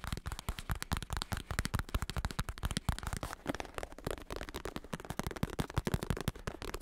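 A large black padded bicycle saddle with a smooth synthetic leather cover and red trim, padded on top over a hard plastic shell, is held up in one hand and tapped and scratched on the cover with fingertips and short nails. A rapid, steady stream of soft, dull taps with a low thumpy body is heard, mixed with light scratchy rustling. The taps stop short with almost no ring.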